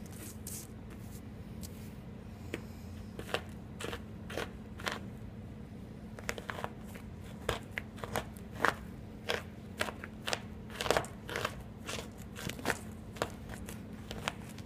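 A steel kitchen knife repeatedly chops a pile of solid green and pink chalk chunks into smaller bits. Sharp, bright crunching chops come in an irregular series over a steady low hum.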